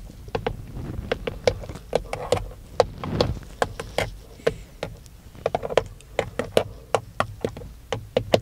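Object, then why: Plastic steering wheel airbag cover. Fingertips knock and tap on the textured black plastic airbag cover of a Dodge steering wheel, a hollow shell. About thirty quick, dry taps come in an uneven rhythm, each a short hollow knock with a tone near 500 Hz that dies away almost at once.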